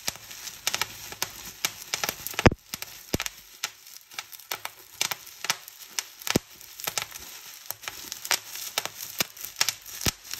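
Fingertips and long nails pinch a clear plastic bubble wrap sheet, popping its air bubbles one after another. Sharp, bright pops come at an irregular pace over soft, steady crinkling of the plastic. One louder, fuller pop stands out partway through.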